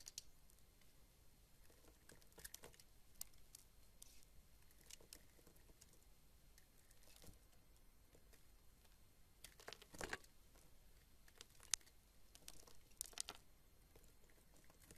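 A rectangular solid white soap bar held in the hand is carved and scraped with a teal-handled box-cutter blade, curling off shavings. The sound is quiet, steady scratchy shaving with bright, crackly ticks and a few sharper clicks scattered throughout, most noticeable around the middle and later strokes.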